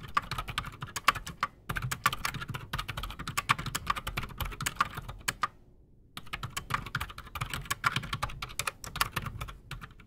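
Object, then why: Mechanical keyboard with PBT plastic keycaps. Both hands type fast with their fingertips on a solid, full-size black Redragon Shrapnel K589 mechanical keyboard with silent Outemu Silent Sky switches and PBT plastic keycaps, resting on a desk. The result is a dense stream of short, muted clicks and soft low thumps, each with a bright midrange tick that dies away almost instantly. The typing pauses briefly just past the halfway point, then resumes.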